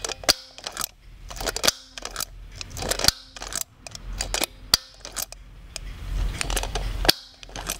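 Fingers work the eye-change pull mechanism on a brown-haired Blythe doll in a red top, its hard plastic head held close to the microphone. Sharp, bright plastic clicks and snaps come in quick irregular bursts, each ending almost instantly, with soft scraping and handling noise between them.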